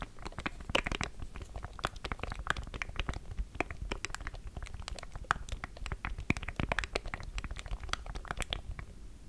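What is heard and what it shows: A small black plastic Elgato Stream Deck, a hollow controller with a grid of rubbery keys, is held in both hands above a Zoom H6 recorder while fingertips press and tap its buttons and the hands squeeze the casing. The result is a dense, steady run of short, dry clicks and taps with a soft, low, thumpy body and faint crinkly creaks from the squeezed plastic.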